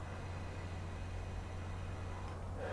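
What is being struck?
Nothing is struck.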